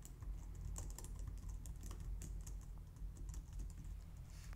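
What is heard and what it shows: Both hands type on a white plastic low-profile wireless keyboard using long painted nails and fingertips. A steady stream of quick, light, bright key clicks rides over a constant low rumble, with the keystrokes running together rather than standing apart.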